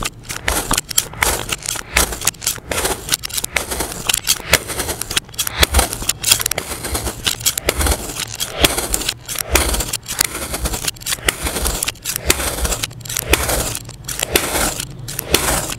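A yellow-handled utility knife cuts a grid into a palm-sized solid mound of yellow kinetic sand on a hardboard surface, with a blue sand dome sitting untouched nearby. Many quick, crisp slicing and scraping strokes run through the sand, each a bright, grainy crunch with a faint low hum underneath.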